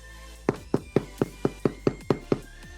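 A baked white bread loaf, the second one, is flipped out of its tin and tapped on the bottom nine times in a steady rhythm. Each tap is a short, dull, hollow knock that dies away almost at once over a faint low hum. The hollow sound shows the loaf is done.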